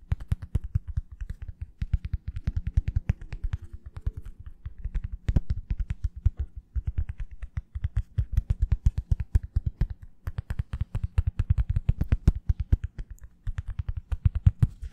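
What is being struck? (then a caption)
Small plastic-backed foam sponge brush. A small foam wave sponge brush with a black oval plastic back, blue rim and foam underneath is held up in one hand while long fingernails rapidly tap on its plastic back. A fast, continuous stream of short, dry taps sounds like typing, with low thuddy bodies and bright clicky edges that die away almost instantly.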